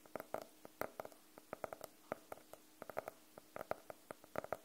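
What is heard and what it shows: Fingernails tap and scratch on the cover of a closed, solid navy faux-leather hardcover notebook held at an angle. Quick, dry taps come in uneven bursts with a hollow tone around 630 Hz and bright clicky tips, separated by faint scratching. Each tap dies away almost at once.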